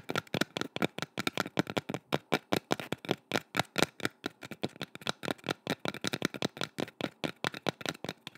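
Long red nails tap rapidly on the outer surface of a small, hollow, painted wooden bowl with swirl patterns, held in both hands close to the mic. About 46 quick, crisp taps sound, each a short, dry knock with a hollow body around 324 Hz and a bright clicky edge that dies away almost instantly.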